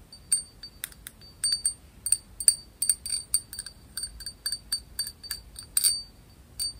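Long nails tap a small, hollow, empty cut-glass cup with a textured surface, held close to the microphone under red light. A quick, irregular series of bright, high-pitched glassy clinks follows, each one ringing briefly and dying away fast over a quiet background.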